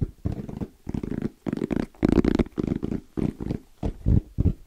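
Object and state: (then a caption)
EVA hard-shell zipper case. Fingertips tap and scratch quickly on a small, closed, hollow black zippered hard case with orange trim and a fabric-covered EVA shell. The sound comes in short rhythmic bursts of muffled, low, hollow knocks mixed with a soft scratchy rustle. Each burst ends abruptly, with almost no ring.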